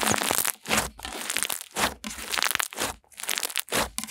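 Pink slime is stretched downward, then folded and squeezed in both hands, giving bright, crackling, crinkly pops in a series of bursts. The bubbling and squishing fill the high range with little low end, rising and falling with each squeeze.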